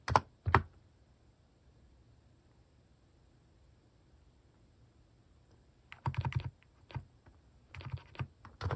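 Fingertips type on a plastic mechanical keyboard fitted with cat-shaped keycaps. Two sharp, separate keystrokes open the clip, followed by several seconds of near-silence. Bursts of quick, clicky keystrokes with a soft low thud then resume from about six seconds to the end.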